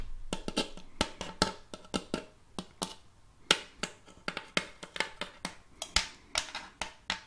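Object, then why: Shallow wooden tray tapped with fingernails. Long fake nails tap and scratch the surface of a round, shallow, glossy wooden serving tray with a raised rim, empty and hollow underneath, held tilted in one hand. About two dozen sharp, bright clicking taps land in an uneven rhythm, each dying away almost at once. Softer scratchy rustles fill the gaps between them.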